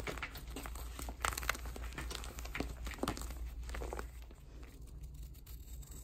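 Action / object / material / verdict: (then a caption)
scrape / magnesium gym chalk block / magnesium carbonate / none. A square, palm-sized block of soft white magnesium gym chalk, solid and powdery, is held in a chalk-covered hand. It is crumbled between the fingers, then shaved and scraped along its surface and edge with a metal snap-off utility knife blade, shedding powder. Dry, crinkly crunches and sharp scraping ticks sound over a steady low hum, growing quieter toward the end.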